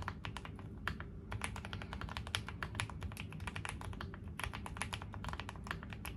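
A QwertyKeys QK75, a 75% custom mechanical keyboard with a dark green foam-filled hollow case, gray GMK ABS plastic keycaps, lubed linear switches and an FR4 plate, is typed on continuously with the fingertips of both hands on a gray desk. A rapid, steady stream of short, crisp clacks and taps comes through, each dying away almost instantly, with bright edges over a constant low rumble underneath.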